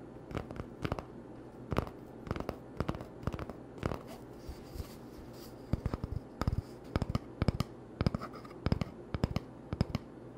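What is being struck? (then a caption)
Cardboard toilet paper tube. Short fingernails scratch an empty, hollow cardboard toilet paper tube in dry, papery bursts, then fingertips tap it in quick clusters of soft, hollow knocks. Each sound is brief with almost no ring, heard over a steady low hum.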